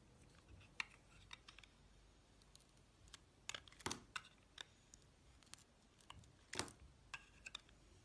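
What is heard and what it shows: A utility-knife blade slices into a solid magenta bar of soap with a yellow and white striped core. Quiet, irregularly spaced crisp cuts and scrapes are heard, bright and dry with no ring, over a soft background hiss.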